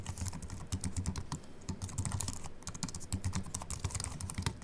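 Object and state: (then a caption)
Aluminium-and-plastic keyboard being typed on. Fingertips type continuously with both hands on a slim Apple Mac keyboard with an aluminium body and white plastic keys. It makes a rapid, steady stream of short, dry clicks with bright, high snaps over soft low thumps from the keys bottoming out. Each keystroke dies away almost instantly.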